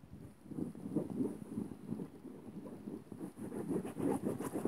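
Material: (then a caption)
Cotton. Fingertips and nails of both hands scratch and rub quickly across a flat floral-print cotton bedsheet. The result is a steady run of soft, muffled scratching and rustling, mostly low-mid in tone with no bright highs, growing slightly busier toward the end.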